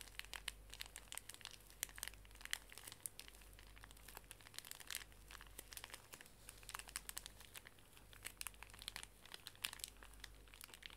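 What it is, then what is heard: Plastic-wrapped pocket tissue pack being crinkled. A small, full pink pocket tissue pack wrapped in plastic film is crinkled and squeezed in the hands while long nails scratch across the film. A dense, quiet run of bright, sharp crackles and scratchy clicks fills the whole clip over a steady low hum, with each crinkle dying away almost instantly.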